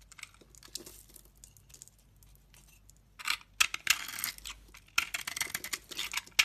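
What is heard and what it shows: A solid white bar of soap with red edges, held in a hand with lavender-painted nails, is shaved with a utility knife blade. Faint, dry scraping crackles give way after about three seconds to louder, crisp, bright bursts of cutting and flaking, with almost no low end.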